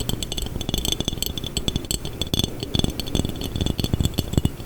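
A textured glass jar is tapped, scraped and rattled in quick succession. Fast, uneven taps and rattles mix bright glassy clinks with dull low thumps, each dying away almost at once.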